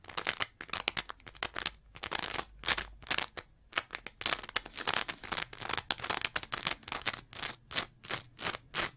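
A green layered foam scrub sponge, with a lighter foam layer and a bumpy textured face, is held in one hand and scratched with the long nails of the other. The result is a rapid run of short, bright, dry scratching bursts with brief pauses between them, made mostly of high hiss and almost no low end.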